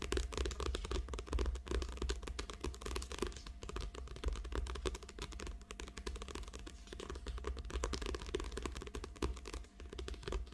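Long acrylic nails tap and scratch the glossy cover of a small, thick paperback book lying flat on a table. The result is a dense, irregular run of quick, dry clicks and scratchy rasps, with a steady low hum underneath.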